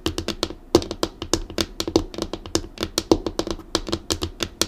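Long acrylic nails tap rapidly on a solid, flat, dark laminated desk tabletop, making 28 sharp, dry clicks. Each tap has a bright, crisp edge over a light hollow knock and stops almost at once with no ring. A few taps land harder than the rest.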